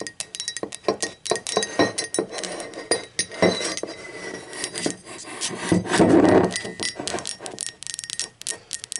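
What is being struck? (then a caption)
Ceramic mug. Long acrylic nails tap and clink rapidly on the body of a hollow, empty, speckled teal ceramic mug as it is turned over and set upright. Sharp, bright clicks come in quick irregular runs over a faint, steady ringing tone near 2 kHz. Louder rustling handling noise swells in the middle before the tapping resumes.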